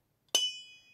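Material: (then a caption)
Metal. A metal HVAC refrigerant line muffler is tapped once with an adjustable wrench. It gives a bright, high-pitched metallic ring that trails off over about half a second. The hollow ring shows the muffler is hollow inside, unlike a filter drier.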